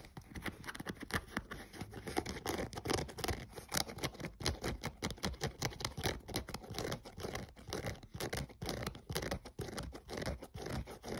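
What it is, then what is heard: Synthetic sneaker upper and rubber sole. A thumbnail scratches the printed synthetic side panel and the edge of the foam/rubber midsole of an empty, hollow grey running shoe. It makes a rapid, continuous run of short, dry scratching strokes with a soft low thud underneath and a brighter rasp on top.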